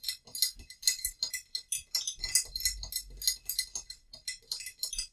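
A small, hollow, painted terracotta-colored ceramic vase holding dried lavender is held in both hands and tapped with long nails. A quick, irregular run of bright, clicky taps follows, each sharp and high with almost no ring and very little low end.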